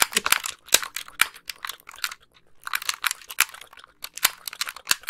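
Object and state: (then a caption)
Plastic game controller. A white hollow plastic wired game controller is held close to the microphone while long nails tap and click its buttons and thumbsticks. Rapid, dry, bright plastic clicks and taps come in dense clusters with a brief quiet pause midway, each one short with no ring and almost no low end.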